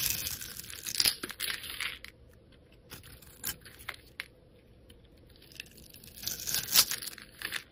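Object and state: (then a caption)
Soap bar being carved. A metal utility blade scores and shaves layers off a solid grey soap bar held in the hand. Bright, crisp scraping and crackly shaving bursts come in clusters, loudest at the start and again near the end, with quieter, sparser scratches in the middle.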